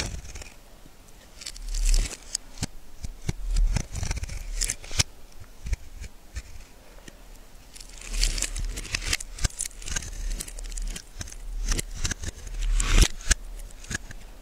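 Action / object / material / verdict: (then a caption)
scrape / bar of soap scraped with a metal blade / soap / none. A hand in a cloth glove holds a hand-sized solid yellow bar of soap and shaves and scrapes it with a small metal carving blade, letting flakes fall onto the table. Dry, crisp scraping strokes come in bursts of bright, crackly shaving with soft low bumps underneath, rising and falling between quieter passes.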